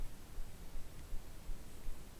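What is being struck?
Nothing is struck.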